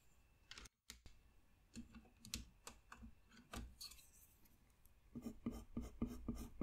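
A colored pencil strokes and scratches across a flat white paper coloring sheet lying on a desk while a figure's hair is being colored in. Short, dry scratching strokes come in an uneven rhythm, with a brief silence near the start. The strokes grow quicker and louder toward the end.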